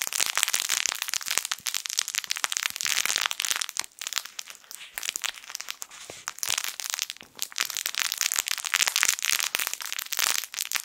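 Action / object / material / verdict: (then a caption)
scrape / soft fabric toy with plastic crinkle film inside / plastic film / none. A yellow sun-shaped plush crinkle toy, soft fabric with crinkle film inside, is squeezed with the fingertips of both hands. It gives dense, bright crinkling and sharp crackles with almost no low end. The sound eases into a quieter stretch in the middle before building back up.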